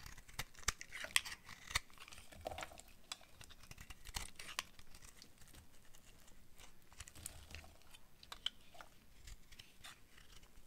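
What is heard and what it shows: A utility knife blade scrapes and cuts the surface of a hand-sized, solid purple oval bar of dry soap with a dark coating, held in one hand. Quiet, crisp, crackly scraping and sharp snapping cuts sound bright and dry, with brief clicks that stop almost instantly.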